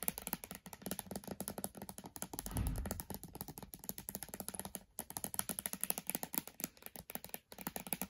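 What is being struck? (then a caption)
Laptop glass screen. Long dark nails tap rapidly and unevenly on the glossy glass display of a switched-off MacBook Air. The taps are quiet, dry, sharp clicks with almost no ring, and a soft low thud swells briefly in the middle.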